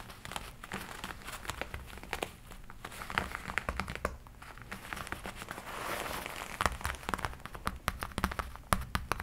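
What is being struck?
Leather jacket sleeve.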